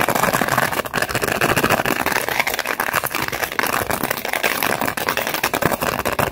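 A small, thin, empty clear plastic blister pack with a foil backing is held in both hands while long acrylic nails scratch and crinkle its plastic bubbles. A continuous stream of fast, dense crackling and scratching runs throughout, with bright, papery texture across the mids and highs and little low end.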